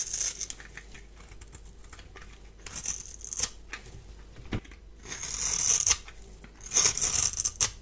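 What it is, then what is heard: Bar soap being shaved. A solid, palm-sized rectangular bar of dry white soap is held in one hand and shaved with a metal blade, producing white flakes. Bright, crisp scraping and crackling strokes come in irregular bursts with a high hiss and almost no low end. Each stroke stops quickly.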